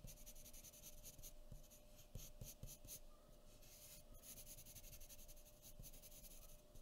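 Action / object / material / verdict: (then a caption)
scrape / graphite pencil on a sheet of drawing paper / paper / none. A graphite pencil, held short in the fingers, scratches in small quick strokes across a thin sheet of white drawing paper resting on a wooden table. The result is a soft, continuous dry scratching with bright, papery grain and occasional sharper ticks, over a faint steady hum.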